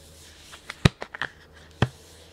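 A hand rubs and crinkles a full, printed plastic snack bag of sunflower seeds, with the seeds visible inside, and moves it close. Several short, sharp, bright crinkles and rustles stand out over a quiet background, with the loudest snap near the middle and another about a second later. Each sound stops almost instantly.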